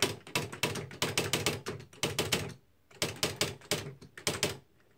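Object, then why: Plastic electric typewriter keys. Both fingertips type on the plastic keys of a beige Smith-Corona Mark V electric typewriter with typed paper in the carriage. Quick, bright clacks with a low thunk under each strike come in two rapid bursts separated by a brief quiet pause. Each key strike cuts off sharply, and the clip ends in near silence.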